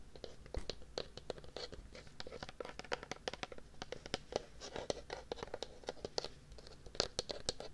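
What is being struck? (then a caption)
Plastic tub with lid. A medium white plastic tub with a red-and-yellow printed lid, which looks hollow, is held beside a binaural microphone and scratched with fingernails along its side and lid. A rapid, uneven run of dry, crisp scratches and clicks follows, each short and bright over a faint hollow body around 400 Hz.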